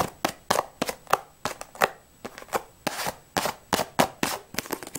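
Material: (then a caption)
Cardboard. Long nails quickly tap and scratch the flat sides of a closed, hollow cardboard tea box held in the hands. The result is a rapid, irregular series of sharp, dry clicks with a hollow midrange knock around 790 Hz and bright scratchy edges. Each hit dies almost instantly.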